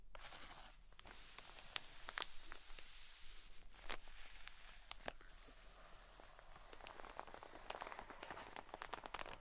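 A cotton wool pleat pack in a plastic bag, turned lengthwise, is scratched and rubbed with long nails and fingertips over the crinkly plastic and soft cotton beneath. A steady, bright crinkling hiss runs throughout, punctuated by sharp, quick scratch clicks and a faint low hum underneath.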